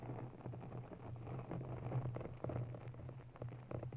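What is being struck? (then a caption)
Foam microphone windscreen. Long natural fingernails of both hands scratch and tap on a round grey foam windscreen, soft and porous, covering a white desktop USB microphone. The result is a quiet, muffled, rain-like crackle of soft scratches and light taps over a steady low hum. The sound stays dull, with no bright edge.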